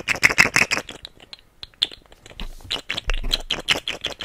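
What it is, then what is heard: Plastic articulated fidget toy rattling. A rainbow segmented plastic fidget slug toy with hollow segments is dangled and wiggled close up, its segments rattling in quick bright clicks. A fast burst of loud clatters opens, then sparser, softer ticks and rustles follow, with another cluster of clicks near the end.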